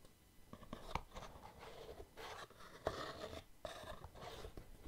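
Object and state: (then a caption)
Cardboard box with lid. Fingertips lift the separate lid off a small, white, patterned cardboard gift box, hollow and apparently empty, then fit it back on, rubbing and tapping the cardboard. Soft, papery scraping swells and fades between a few quick, dull taps with almost no ring. The whole clip stays quiet and close.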